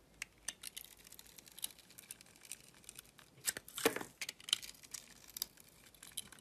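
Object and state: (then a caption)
Soap bar being cut. A utility-knife blade cuts and scrapes through the crusty surface of a solid oval soap bar, held in the hand, that is coated in green sugar-like crystals and has a pink interior. Quiet, irregular bright crunches and crackles follow one another, with a louder, longer grinding crunch near the middle.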